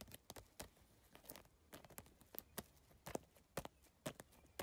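Long nails and fingertips tap rapidly across the surface of a holographic geometric PVC tile bag made of iridescent triangular plastic tiles. Sharp, dry, bright clicks come in a quick, uneven rhythm, each dying away instantly. Soft rustling fills the gaps between taps.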